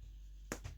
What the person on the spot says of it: our bread is done you can hear it nice and Hollow